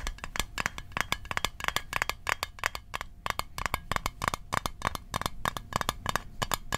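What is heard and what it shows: A small metal Altoids mint tin is tapped with fast, irregular fingertip-like strikes, about 38 sharp taps in under seven seconds. Each tap is a brief, dry metallic click with a bright top and a light tinny tone near 1.1 kHz that dies away almost instantly.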